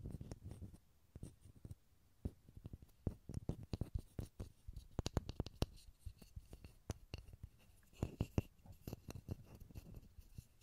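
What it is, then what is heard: Pine wood block. A small solid pine wood block is held close to a stereo recorder and tapped and scratched with fingertips and nails. Many quick, dry, low taps come in irregular bursts, mixed with soft scratching. Each tap dies away almost at once in a quiet, close-up setting.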